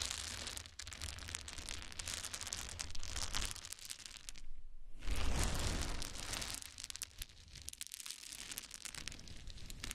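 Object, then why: Small wooden cubes. Many small solid wood cube chips are scooped up in both hands and poured onto a towel. A dense, continuous clatter of tiny wooden knocks and rustles runs with a strong low rumble underneath. After a brief quiet break about halfway through, a louder pour of tumbling wood follows.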